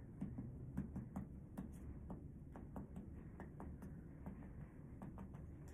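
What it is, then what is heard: Tympanic abdomen on percussion. Percussion over a human abdomen above the bowel gives a series of short, hollow, drum-like taps with a low tympanic tone near 200 Hz, each dying away quickly. The air-filled tympanic sound is judged good.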